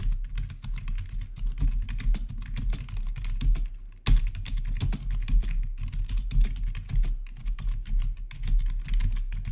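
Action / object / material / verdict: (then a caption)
tap / plastic computer keyboard / plastic / none. Fingertips of both hands rapidly press the keys of a full-size black plastic RGB backlit gaming keyboard with a hollow housing, heard up close. A dense, steady stream of short, hollow, thuddy taps runs throughout, with a brief lull just before the 4-second mark.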